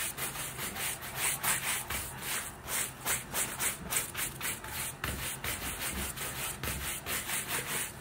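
A wooden-backed bristle shoe brush is rubbed and scrubbed back and forth over the upper of a grey-green lace-up leather boot, which is worn on a foot, hollow, and held steady by one hand. The result is a steady, rhythmic run of bright, hissy bristle strokes that swell and fade with each pass, with no ringing after them.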